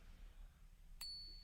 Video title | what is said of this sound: The BEST ways to TEST for FAKE SILVER at home! #silverstacking | you will find there's a very noticeable difference in that ping right there